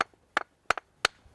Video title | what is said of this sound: Bolting Skills: Drilling | what you're looking for is that solid rock rather than the dull or high pitch sort of fractured rock we don't want to be bolting to